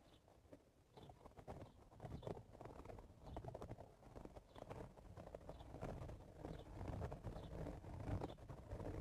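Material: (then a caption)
Straw. Fingertips with short blue-painted nails scratch the open-weave crown of an empty, wide-brim woven straw cowboy hat with a hollow crown, lying on a purple towel. The sound is a dense, uneven crackling rustle with a soft, muffled low thump beneath it, rising and falling in quick irregular strokes.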